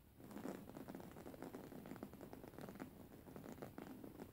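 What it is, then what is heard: Embroidered cotton pillow. Long fingernail tips scratch a soft, stuffed white cotton pillow with raised embroidery, making a quiet, continuous run of dense fabric scratching and rustling. The strokes blur into an even, muffled texture that sits mostly in the low-mids, with little brightness and almost no ring after each stroke.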